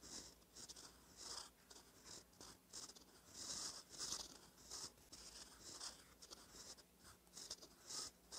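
A gold metal fountain pen nib, held by fingertips, scratches across a thin cream lined notebook page while writing cursive. The sound is a quiet, bright, dry scratching in short uneven strokes with brief pauses, mostly in the high range with almost no low end.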